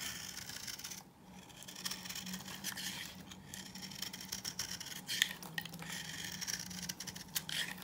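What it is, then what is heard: Dry bar soap being scraped. A knife blade scrapes a hand-held bar of solid, dry coral-pink soap, shaving off flakes. The sound is a bright, dry, crisp rasping of repeated short scrapes with small sharp clicks. A faint low hum runs underneath.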